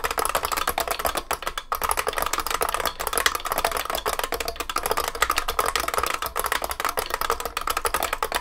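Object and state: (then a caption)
Beam spring mechanical keyboard. Both hands type continuously with their fingertips on a large vintage beige IBM 3278 beam spring keyboard with plastic keycaps and a metal case. A rapid, steady stream of sharp, clacky keystrokes rings with a bright, metallic ping. Each strike dies almost instantly, with very little low end.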